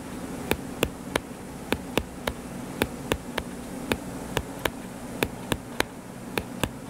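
Fingertips tap rapidly on the cover of a solid, purple-covered paperback book lying flat, producing a steady series of short, dry, clicky taps with bright edges and almost no ring. A low, constant hum sits underneath the taps.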